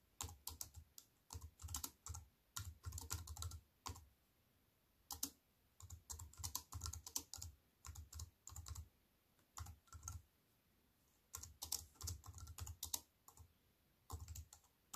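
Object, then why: Plastic computer keyboard. Fingertips and long white-painted nails tap on a compact wireless keyboard with black plastic keys and a grey metal-look frame, lying flat on a wooden table. Quick bursts of dry, bright clicking keystrokes over soft low thumps alternate with brief quiet pauses, and each tap dies away almost instantly.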